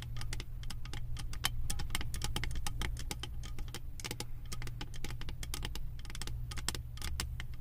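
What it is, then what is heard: Metal candle jar lid with bead studs. Long acrylic nails rapidly tap and scratch a round, embossed metal lid studded with small metal beads, resting on top of a full glass candle jar. Dense, bright, clicky taps and short scratches run continuously for about eight seconds over a steady low hum, with each tap dying away almost instantly.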